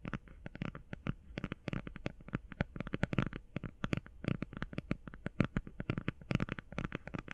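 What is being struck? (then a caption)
Cardboard eyeshadow palette. Fingernails rapidly tap the edges and sides of a flat cardboard eyeshadow palette held edge-on. The result is a quiet, fast stream of short, dry, dull taps with a low, papery thump and very little ring.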